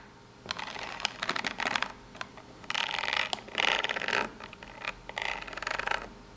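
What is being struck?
Small corrugated cardboard box.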